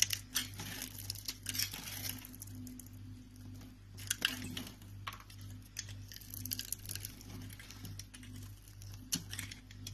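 A solid, pale green, pre-scored rectangular bar of soap is held in the palm and cut and scraped with a utility knife into small cubes. Bright, crisp scraping and crumbly crunching clicks come in quick irregular bursts over a steady low hum, and each one ends abruptly with no ring.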